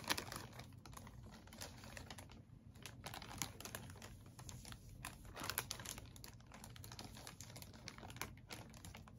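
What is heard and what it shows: A clear, thin plastic bag held in both hands is crinkled and rubbed by the fingers. Rapid, irregular bursts of bright, crackling rustle come and go over a steady low hum, some louder than others.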